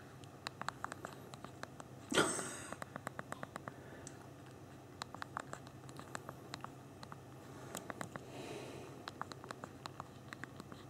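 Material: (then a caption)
Hard plastic. Both thumbs tap continuously on the hard plastic QWERTY keys of a small BlackBerry Q10 phone's physical keyboard, producing a steady stream of quick, crisp, bright clicks over a quiet background hiss. A louder broadband burst stands out near the two-second mark, and a softer rustling swell appears around eight seconds as the tapping continues.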